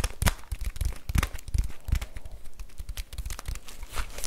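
A full plastic bag of rice is held in both hands while fingernails scratch and crinkle the plastic and its label. A quick, uneven run of crackling, rustling bursts has dull low thumps underneath and brief bright crinkles on top. Each burst is dry and dies away at once.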